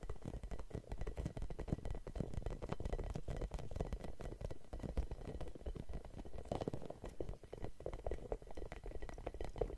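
Long nails scratch across a red, hollow rubber spiky massage ball with a label, producing a dense, steady stream of quick, dry scratches and soft clicks for about ten seconds. The sound is low and muffled with a rubbery thud underneath, and each tiny stroke fades almost instantly.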